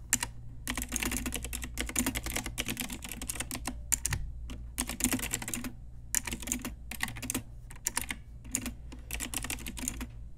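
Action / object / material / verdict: tap / plastic mechanical keyboard / plastic / none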